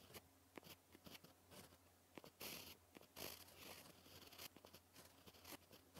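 A white gel pen writes on a black paper sheet, its tip scratching across the surface. Quiet, bright scratchy strokes come in short ticks and a few longer raspy drags, over a faint steady low hum.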